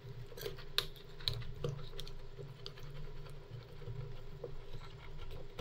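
Two wooden-handled metal spatulas, held in gloved hands, scrape along a large flat stainless steel cold plate for rolled ice cream, pushing a thin frozen cream layer into a roll. The scraping is quiet and patter-like, with faint clicks and several sharp metallic ticks standing out over a low, steady rumble.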